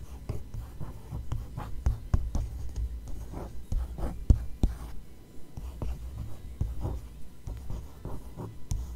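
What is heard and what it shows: A fingertip with a long nail traces and lightly scratches over the printed page of an open glossy paper magazine. Soft, dry scratching strokes come and go over a low rumble, with a few sharper ticks where the nail catches the page.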